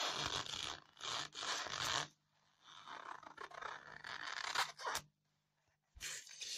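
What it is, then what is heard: Styrofoam block being scratched. Long fingernails scratch and pick at the surface of a solid white polystyrene foam block, loosening bits of foam. Bursts of bright, squeaky, scraping friction come and go, with quiet gaps between the stretches of scratching.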